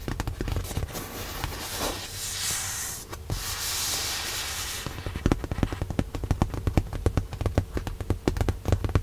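Long nails tap rapidly on a padded white leather car seat cushion in a Tesla. The clip opens with a soft, bright rustling hiss for about five seconds, then gives way to quick, dull taps with a low, padded thump and almost no ring.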